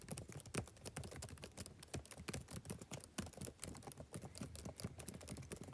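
Fingertips type steadily on the black plastic keys of a backlit laptop keyboard. It makes a quick, continuous stream of soft, short clicks and taps with a low, muted thud under each keystroke and brief bright tips. The whole clip stays quiet and close, with no pauses.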